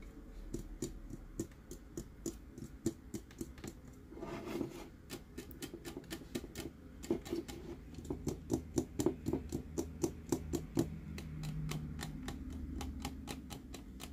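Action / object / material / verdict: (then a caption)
tap / plastic tumbler with dome lid / plastic / none. Fingernails tap quickly on a clear plastic light-up Dory tumbler with a dome lid, making about 48 short, dry clicks with a hollow plastic tone and almost no ring. The taps run in uneven bursts over a steady low hum, broken by a brief scratchy rustle partway through before the tapping picks up again.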